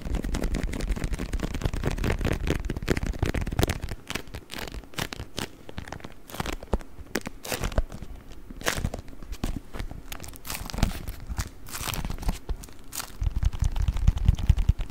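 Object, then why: Beeswax-coated cotton wrap. A beeswax-coated cotton wrap is rolled, then opened, squeezed and crinkled with the fingertips. Dense, sticky crackling and crinkling fills the clip, with a heavier low rumble in the first few seconds and again near the end. Sharper, sparser snaps and clicks come through in the quieter middle.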